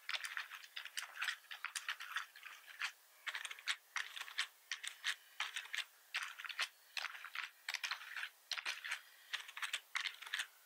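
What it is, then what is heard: Plastic computer keyboard. Fingertips of both hands type on a full-size black plastic membrane computer keyboard with red keys and a hollow plastic housing, resting on a wooden desk. Quick, bright, dry clicks and clacks come in bursts separated by brief pauses. Each tap dies away almost instantly, with no low thud beneath.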